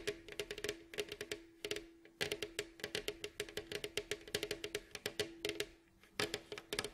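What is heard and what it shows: Fingertips and nails of both hands tap quickly across the glossy, hollow, striped, varnished wooden staved bowl back of a face-down mandolin. The result is rapid clusters of short, bright clicks with a hollow woody resonance around 420 Hz. Each tap dies away almost at once, and brief pauses separate the bursts.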